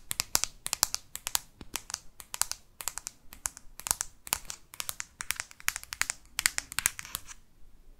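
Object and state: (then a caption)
Smartphone in hard plastic case. Long fake nails tap and scratch the back of a hand-held smartphone in a solid, hard black plastic case. Quick, dry clicks come in rapid bursts, with bright, crisp highs and almost no low end. Each tap stops short with no ring, and softer scratching fills the gaps between them.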